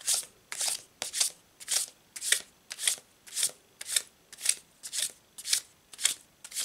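A full deck of laminated paper Thoth Tarot cards is held in both hands above a cloth-covered table and overhand-shuffled with the fingers, so the cards slide and rub against each other. The result is a steady rhythm of soft, bright, papery swishes, roughly two per second, each fading quickly with almost no low end.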